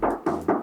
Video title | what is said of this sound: Cikgu Kereta Beli Kereta Projek!! - Kereta Projek Pt.1 | bumbung masih bunyi besi. Masih bunyi besi.